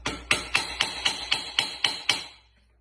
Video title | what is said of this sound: DSM Kiggly Racing W4A33 straight cut planetary assembly | different sound there, which means it's pretty good. Because we don't want these to fall out.